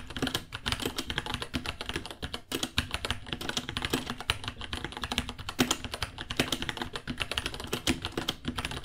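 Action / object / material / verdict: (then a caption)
tap / plastic mechanical keyboard / plastic / none. Fingertips of both hands type steadily on a small white 66-key mechanical keyboard with Gateron Brown switches, white plastic keycaps, a hollow case and pink underglow, resting on a white desk. A fast, dense stream of short, bright, clacky key taps follows with no pauses, each dying out almost instantly.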